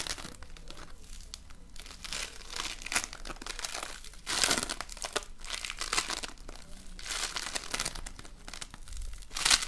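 A soft, solid lump of colorful polystyrene foam beads in slime (floam) is squished in the palm and pressed with fingers. It gives dense, bright crinkling and crackling in uneven bursts, with louder surges of crunchy popping near the middle and end.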